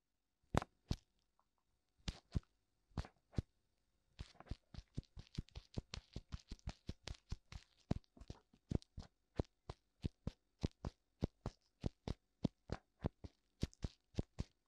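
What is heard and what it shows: Fingertips tap both white silicone ears of a black binaural microphone. A few sparse pairs of taps come first, then a steady, rapid run of taps starts around four seconds and continues to the end. Each tap is a sharp, dry click with a soft low thump and no ring.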